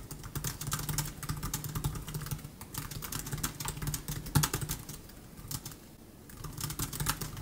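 Both hands type quickly with fingertips on the black plastic scissor-switch keys of an open 2015 MacBook Air with an aluminum body, resting on a wooden desk. Rapid, bright, clicky key taps run over a steady low hum, with a louder tap near 4.4 seconds. The typing eases into a brief lull around 5 to 6 seconds before picking back up.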